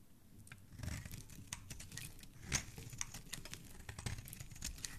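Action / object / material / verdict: scrape / bar of soap / soap / none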